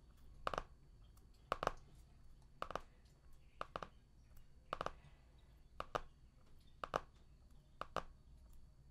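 Fingertips tap and scratch the cover of a medium, solid hardcover art book with a cardboard cover, sealed in plastic shrink wrap and lying flat on a table. Short, dry taps land in quick pairs about once a second, with a bright, crinkly snap. Faint plastic scratching fills the quiet gaps between them.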